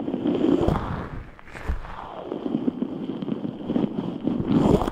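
A large translucent rubber stress ball filled with red and white water gel beads is squeezed and rubbed with the fingertips of both hands. It gives dense, low, squishy rubbery crackles and scrapes, with louder bursts at the start and end and a quieter stretch in the middle.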